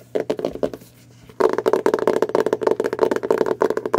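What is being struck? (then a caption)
Hardcover book, printed cardboard cover. Long blue nails and fingertips tap and scratch the printed cardboard cover of a solid, closed, dark hardcover Harry Potter spellbook held upright in both hands. A few quick, dry, hollow taps are followed by a short pause, then a rapid, steady run of tapping and scratching. Each hit has a mid-pitched knock and fades almost instantly.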